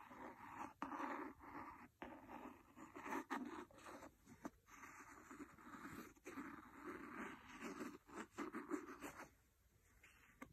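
A wooden pencil, held by a hand with painted nails, scratches and taps the cover of a large, solid, red cloth-covered hardcover book. Soft, rustling scratches with a midrange body are broken up by a series of short, dry taps that die away almost at once. The sound stays quiet and close throughout.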